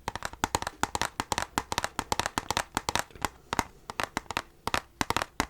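Rapid taps land directly on the bare steel book case of an original Xbox Halo 2 game, a little rusty from sitting on a shelf, after its plastic sheet is removed. About 28 quick, crisp metallic clicks with very short ring center around 900 Hz, in uneven bursts. The steel sounds better bare than with the plastic on.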